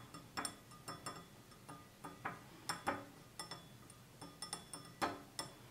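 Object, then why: Glass tumbler. Fingertips and short nails tap a hand-sized, hollow, clear stemless wine glass tumbler with a red band at the bottom, apparently empty and held in the hand. A quick, irregular series of light taps gives short, glassy clinks with a low tone near 285 Hz and bright high overtones. Each clink dies away in about a tenth of a second.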